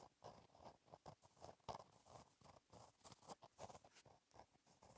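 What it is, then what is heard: Pen writing on a paper notebook page. A gel pen tip scratches across a flat black lined page of a black paper notebook while writing cursive. It makes quiet, short scratchy strokes in quick bursts, with a papery midrange rasp and a faint bright hiss.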